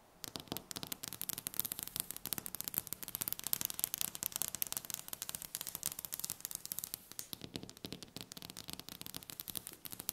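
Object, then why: Wooden tabletop tapped with fingernails. Long red-painted nails tap quickly on a large, solid, polished dark wooden tabletop. The result is a dense, rapid stream of sharp, dry, bright clicks with almost no ring and little low end, played quietly and without a pause for the whole clip.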